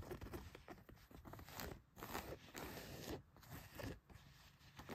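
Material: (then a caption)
Denim. Long nails scratch quickly across the back pocket of a pair of blue denim jeans laid flat. The clip is a quiet, continuous run of rapid, rough, crunchy scraping strokes that swell and fade.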